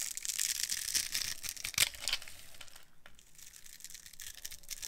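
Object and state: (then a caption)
Dry glycerin soap bar being carved. A metal blade carves a dry, solid, translucent yellow glycerin soap bar with a grid-scored surface, held in hand, breaking it into crumbly cubes. Bright, dry crunching and crumbling scrapes repeat irregularly, louder in the first two seconds and then softer.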